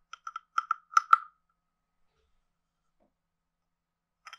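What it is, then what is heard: Wooden frog guiro. A hand-sized carved hollow wooden frog guiro with a ridged back is tapped with a wooden stick, giving seven short, hollow wooden knocks pitched around 1.3 kHz that grow louder and die away almost instantly. After about three seconds of silence, a brief cluster of quick, brighter clicks comes in near the end.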